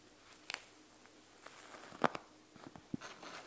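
A panda gel bead eye mask, a clear plastic shell full of gel beads, is held and tilted while long nails tap and scratch on its beaded plastic front. Sharp, quiet clicks and taps stand out over soft, faint scratching and a low background hiss, with one brighter, louder tap near the middle.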